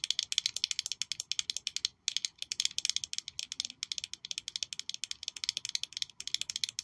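A small black, glossy glass perfume bottle shaped like a high-heel shoe with a red sole is held in one hand and tapped rapidly with long nails. The result is a fast, steady stream of crisp, bright clicks with almost no ring, broken by a brief pause near the two-second mark.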